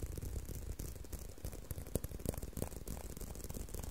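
A leather belt is tapped and handled, making a quick, irregular run of dry, rattling taps and clicks. The sound is mostly low and thumpy, with brief bright edges, and each tap dies away almost instantly.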